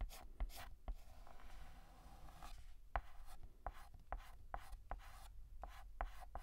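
A stick of white chalk is written and shaded across a large, flat, painted black chalkboard by hand. Short, dry tapping strokes and scratches cut in sharply and stop almost at once. A softer, steadier rubbing of shading fills the middle stretch before the quick strokes return.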